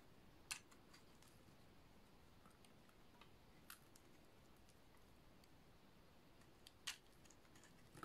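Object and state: Dry bar soap.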